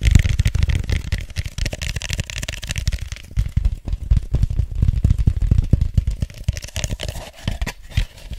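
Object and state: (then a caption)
Styrofoam cup. Fingertips tap and scratch the sides of an empty, hollow white foam cup held close to the microphone. Rapid, dull, boomy low thumps run throughout, with a faint bright scratchy hiss layered over the first few seconds and again near the end.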